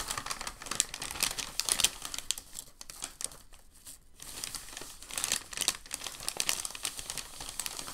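Fingertips hold the edge of a large, crinkled white packing paper sheet, then press and rub its surface. Dense, bright crinkling fills the clip, with sharp crackles on top and little low end. It eases to a quiet stretch in the middle before the crinkling picks up again.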